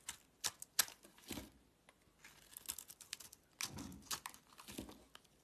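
A box-cutter blade carves a solid purple striped soap bar held in the hand, giving a quiet series of crisp, bright scraping and crinkling cuts. The short, dry strokes come in uneven bursts with a few sharper snaps and fade almost instantly.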